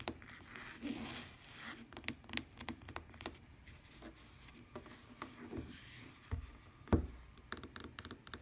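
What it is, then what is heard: Fabric-covered tablet case. Long dark-painted nails scratch and tap a lavender tablet or e-reader case that has a woven fabric cover and plastic rim. The case is flat, thin and hollow-backed and lies on a wooden table. Soft rasping scratches mix with quick, dull taps, and near the end the case is moved around with louder bumps.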